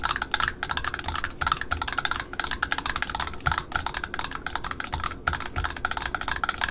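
Long metallic-painted nails tap quickly on a small black satin ribbon roll, a solid wound roll on a spool with printed cardboard end discs, striking both the ribbon side and the end disc. The taps are rapid, dry and clicky, with a papery mid-range tone and a very short ring, much like fast typing.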